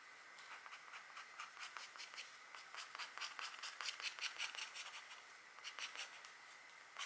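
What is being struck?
Scratch art board, black coating over foil.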